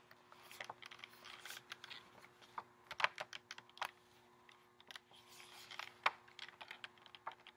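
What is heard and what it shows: Fingernails tap the front and edges of a flat pink printed cardboard lip gloss set box with a clear plastic window holding nine gloss tubes, held up in the air. An irregular run of quiet, sharp, bright clicks and ticks decays almost instantly, with a few louder taps standing out over a faint steady low hum.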